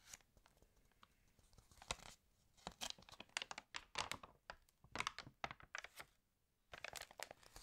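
Fingertips and long nails smooth, crinkle and turn the pages of an open, water-damaged glossy paper fashion magazine lying flat. Bright, dry crackles and crinkling bursts come in irregular clusters, separated by short quiet pauses. The sound is mostly high and crisp, with very little low end.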